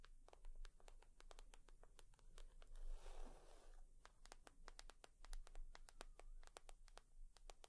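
Long nails tap and scratch on a leather purse, making a steady patter of sharp, bright clicks with a broader scratching rustle in the middle. The sound is quiet and close, with a low hum underneath.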